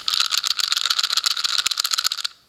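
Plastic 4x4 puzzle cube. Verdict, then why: Loose. An older version four plastic 4x4 speed cube is pinched and shaken at the same tension used on the YJ MoYu 4x4, giving a dense, bright, high-pitched clicking rattle that stops abruptly after about two seconds. It sounds much more rattly, a sign the cube is loose and less stable.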